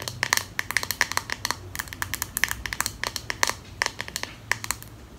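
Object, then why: Plastic comb handle. Long nails tap and scratch the flat handle and spine of a pink solid plastic comb held horizontally. About thirty sharp, bright clicks ring near 1.8 kHz over a soft scratchy hiss. Each tap stops almost at once, with no lingering resonance.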